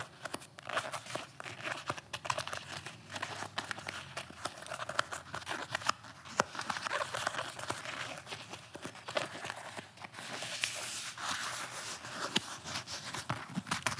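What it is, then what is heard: Nylon-covered flexible armor plate. A blue, torso-sized, nylon-covered flexible armor plate is held against the chest while fingertips and nails scratch and tap on its fabric. The result is a steady, bright, crinkly scratching rustle broken by many quick, sharp little taps, with almost no low end.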